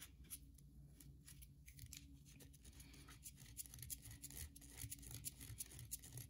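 Long nails dig into and scrape a solid white bar of soap with a partly carved edge, flaking off bits. Quiet, irregular bright scratching and short crisp clicks repeat over a steady low hum, each dying away almost instantly.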